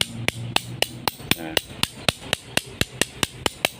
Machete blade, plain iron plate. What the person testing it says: Nah, sama sekali tidak ada nyaringnya. Itu biasanya menandakan bahannya itu kurang bagus.